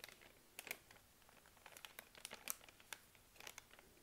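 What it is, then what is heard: Plastic wet wipes packet crinkling. A hand with long nails presses, rubs and taps a full soft plastic-film pack of baby wipes lying on a laptop. The result is a quiet, bright string of crisp crinkles and sharp little taps with almost no low end.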